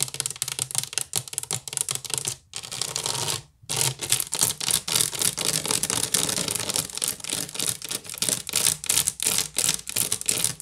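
Long nails scratch quickly along the sides of a hollow woven wicker basket, then tap and scratch its top. The result is a dense stream of bright, crackly scrapes and short ticks, broken by two brief pauses near the start.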